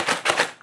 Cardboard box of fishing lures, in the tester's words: I can feel and hear the items in the Box actually shifting back and forth